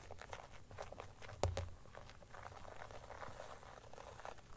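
An empty transparent teal glitter plastic phone case rests on a blanket, then is held up while fingers and nails scratch and tap it. The result is a soft, steady run of dry scratching and light ticks with a low rumble underneath. One sharper tap stands out near the middle.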